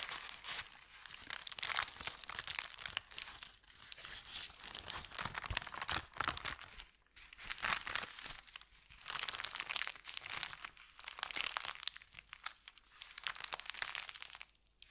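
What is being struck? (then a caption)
Thin kraft paper bag. An empty, crumpled paper bakery bag made of thin kraft paper is stretched and crinkled by hands, then pressed flat. Dense, bright crackling and crinkling comes in waves of activity with short lulls, with almost no low end and no ringing after each crackle.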